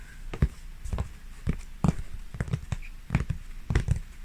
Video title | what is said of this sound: Canvas Oil Painting Tapping ASMR & Soft Whispering 🌼 | because it is on this board, it makes a lovely, lovely sound